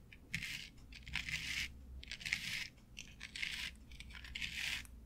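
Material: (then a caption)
Synthetic turf. Long nail tips tap and scratch across a flat board covered with short synthetic turf, making bursts of bright, crisp rustling and crackling. The bursts come in an uneven rhythm over a faint low hum, and each one stops quickly with little ring.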